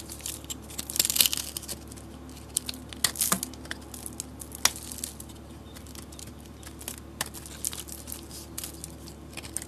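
A utility knife blade scrapes and carves flakes off a solid, hand-sized bar of soap with a green and orange painted, glittered surface. Bright, crisp scraping and crackling bursts come in irregular short strokes, with occasional sharper snaps, over a faint steady low hum.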